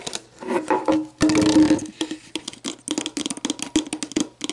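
Long black nails tap and scratch the ridged, hollow base of an empty clear plastic sports drink bottle. Hollow, plastic knocks with a mid-low resonance alternate with a louder, sustained scratching rasp early on, then give way to a quick run of short taps with brief decays.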